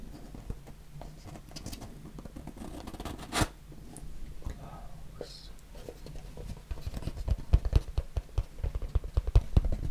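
A small, hollow, closed white cardboard box is tapped and scratched with fingertips and nails. Soft, low scratching and brushing continue through the first part, with one brief louder rustle. Denser, louder taps and scrapes build toward the end.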